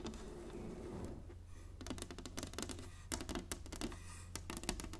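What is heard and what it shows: Long fingernails of both hands tap on a solid, flat inlaid wooden chessboard. A soft scratchy brushing gives way to rapid, sharp, bright clicking taps that die away almost instantly, over a steady low hum.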